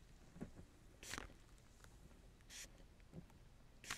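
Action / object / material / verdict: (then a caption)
scrape / plastic bubble wrap sheet / plastic / none. A fingertip presses and rubs the air-filled bubbles of a large clear plastic bubble wrap sheet covering the lens from behind. Five separate crinkles stand out against a quiet low rustle: three broad bright crackles and two softer, duller presses, each fading almost at once.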